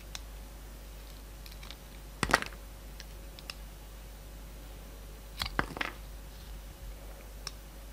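A utility knife blade shaves the black textured coating off a solid, hand-sized soap bar with a purple core, making short, crisp scraping and cutting sounds. Two louder bursts of scraping stand out among faint scattered ticks and clicks. A low, steady hum runs underneath throughout.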